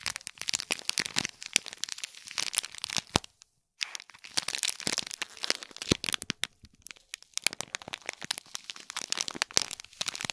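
Long fingernails scratch and tap the gold metallic film wrapping a small hollow gift box tied with a gold bow cord, while the box is turned slightly. A dense stream of bright, crisp crinkles and sharp crackling clicks continues throughout, broken only by a brief silence around the middle.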